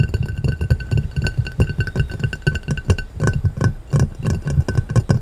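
A clear round glass plate lying upside down is tapped and scratched quickly with fingertips and short nails. The result is a rapid, dense run of dull, low, thumpy taps with very short decay, a faint glassy ring and light scratching in between.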